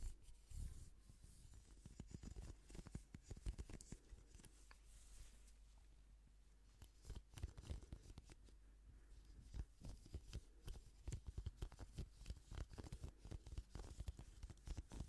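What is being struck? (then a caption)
Plastic paddle hairbrush. Gloved fingertips scratch and rub along the dark bristles of a hand-sized pink plastic paddle hairbrush with a hollow plastic handle, held close to the microphone. Dense, crackly scratching comes in uneven bursts of short, sharp ticks with a low thumping body, easing to a quieter rustle around the middle before picking up again toward the end.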